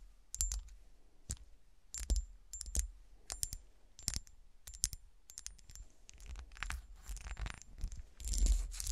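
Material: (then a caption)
Glass. Long nails tap and scratch along the top and sides of a small solid glass golf shoe ornament lying on its side, with a frosted toe and cut patterns. Sharp, bright clicks with brief high ringing alternate with dry, gritty scratching, ending in a louder burst of rough scraping.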